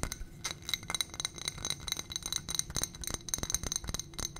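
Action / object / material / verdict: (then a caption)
tap / small ribbed glass footed dish / glass / none. Long nails tap and scratch quickly on a small ribbed glass footed dish on a gold stem holding white contents. About twenty bright, short glassy clinks mix with light scraping, each dying away almost at once with a high ringing tone.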